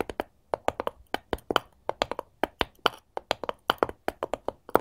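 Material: Wood.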